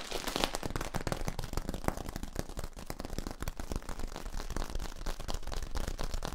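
A long, hollow yellow corrugated plastic tube, held upright, has its ribbed ridges scratched and tapped with fingertips and nails. This makes a dense, steady stream of quick, dry crackling pops. Each pop dies away almost at once, with most of the weight in a low thump.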